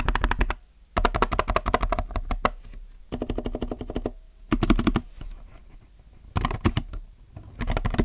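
Fingertips type on a compact mechanical keyboard with plastic keycaps, producing bursts of rapid, clacky keystrokes separated by short pauses. The clicks are short and dry with a solid low-end body.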